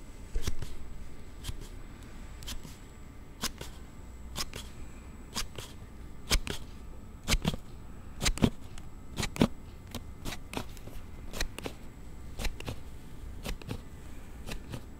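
A hard plastic sliding phone case for a Galaxy Note7 is held close to the microphone while fingertips slide its back panel open and shut over and over. The result is a steady run of sharp, dry, bright clicks and snaps, roughly one per second, with a soft low rumble of handling noise underneath.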